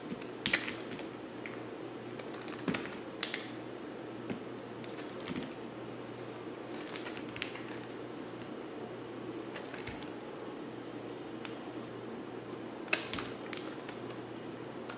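A utility knife blade shaves a dry, solid black bar of soap in repeated strokes. Soft, crisp scraping and light clicking taps rise over a steady low hiss, with sharper bright cracks standing out now and then.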